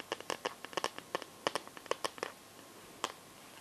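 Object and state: Plastic glitter-liquid phone case tapped and scratched.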